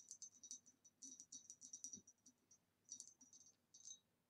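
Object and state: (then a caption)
Glass vase. Quiet, rapid tapping on a green retro glass vase, with light, bright clicks and short glassy rings coming in bursts separated by brief pauses.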